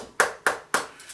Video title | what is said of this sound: Stabilizing maple burl | you'd tap them and they sounded almost hollow this sound hardwood